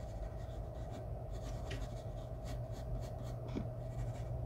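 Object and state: Pencil shading on drawing paper.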